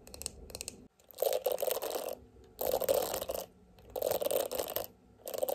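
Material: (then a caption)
Plastic. Long nails tap and scratch the hollow, shiny silver-gold plastic back shell of a small oval hand-held detangling hairbrush with a black bristle face, and the brush is then turned to the bristle side. Four dense bursts of quick, crisp scratching and tapping come between quieter pauses. The bursts carry a papery midrange and a bright, hissy top.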